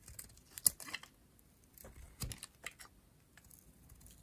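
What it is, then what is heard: Dry bar soap. A metal blade scrapes thin layers off the face and edge of a light blue, rectangular, solid dry bar of soap. About ten short, dry, crisp scrapes come in quick, uneven bursts, bright and high with a faint low thud beneath. Each one stops instantly with no ringing, and the sound stays quiet overall.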